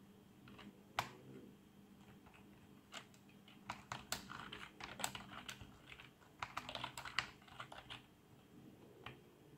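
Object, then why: Plastic membrane computer keyboard. Fingertips of both hands type on a black plastic RGB membrane keyboard resting on a desk. Soft, dull key presses come in uneven bursts with a few sharper taps, each dying away almost at once. A faint low hum sits steadily underneath.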